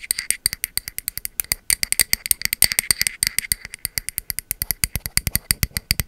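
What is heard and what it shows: Long metal nail caps tap and scratch rapidly across a pink ceramic candle vessel and its engraved bamboo lid. The result is a quick, steady stream of sharp, bright clicks with almost no ring, and faint scratchy texture between the taps.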